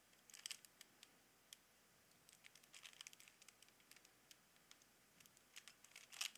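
Fingertips repeatedly turn the layers of a small hollow plastic Rubik's cube with colored stickers, producing quiet, bright plastic clicks and crinkly rattles with almost no low end. The sharp, short ticks come in irregular clusters, building to a louder burst of clicking at the end.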